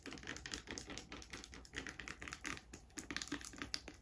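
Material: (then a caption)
Plastic. Long grey acrylic nails tap and scratch a small, clear, hollow plastic hand sanitizer bottle, partly filled with liquid, and its label while it is held in the hand. Quick, dense clicks and scratchy rasps follow one another in bursts with a bright, crisp top and almost no ring. The result is a steady, close-up typing-like patter.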